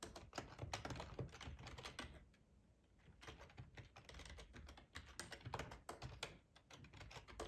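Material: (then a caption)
Plastic. Fingertips type steadily on a black, hollow-bodied plastic split ergonomic computer keyboard resting on a tablecloth. The result is a quick run of soft, hollow key taps with low thuds and bright clicky edges, easing to a brief lull before the typing picks back up.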